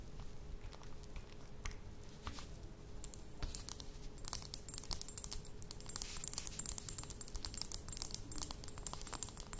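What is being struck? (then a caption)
Small glass dropper bottle with metal cap. Long nails tap and scratch on a small, apparently empty glass dropper bottle with a metal cap. Quiet, rapid clicks and bright, scratchy rasps run in a dense, steady stream over a faint low hum, with each tick dying away almost at once.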